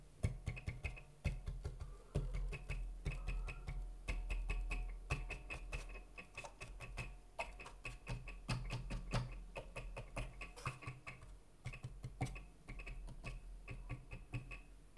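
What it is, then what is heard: Wooden guitar soundboard, tapped and scratched. Fingertips quickly tap and scratch over the inner side of the thin wooden soundboard of an acoustic guitar split in half, across its bracing strips and around the sound hole of the hollow top. The result is a rapid, irregular patter of soft taps with a low, hollow thump that dies away almost at once. Brief scratchy, brighter clicks come through over the top.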